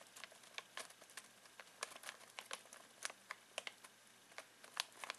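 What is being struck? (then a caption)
Foil-plastic snack bag with pistachios. Fingertips scratch and crinkle a full foil-plastic snack bag of pistachios. The result is a quiet, irregular run of sharp, dry crackles and clicks that are bright and high with almost no low end, each snapping off instantly.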